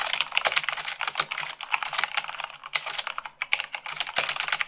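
Fast typing at about 98 words per minute with fingertips and long nails on a mechanical keyboard with white plastic keycaps on a black base. A dense, continuous stream of bright, sharp clicks and clacks, each dying away almost instantly, with a few louder keystrokes standing out.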